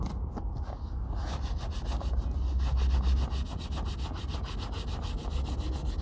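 A brown leather Red Wing Pecos 9801 cowboy boot, hollow and lying on a wooden table, is buffed and rubbed vigorously by hand with a grey terry cloth rag. Rapid, steady swishing strokes repeat over a heavy low rumble, with a bright scratchy edge on each pass.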